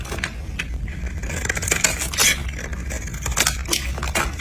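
A utility knife scrapes and cuts along the edge of a solid, pink, translucent dry soap bar held in the hand, shaving off thin, crunchy flakes. Bright, crackly scraping bursts come in a quick, uneven run over a steady low hum.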